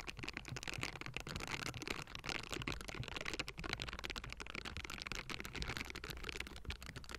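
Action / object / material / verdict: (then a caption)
scrape / metal mesh microphone grille / metal mesh / none. Both hands in pink silicone bristle gloves cup and scratch the hollow metal mesh grille of a Blue Yeti microphone. A dense, continuous, bright rasping texture is heard, with a low, boomy rumble underneath throughout the clip.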